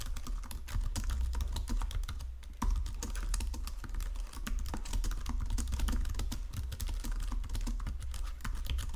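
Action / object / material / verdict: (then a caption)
tap / plastic computer keyboard / plastic / none. Fingertips with painted nails type quickly across a full-size white and silver plastic Logitech keyboard with low-profile keys, resting on a marble desk. The keys give a steady stream of soft, dense clicks over a deep, thumping low end, with a brief lull partway through before the typing resumes.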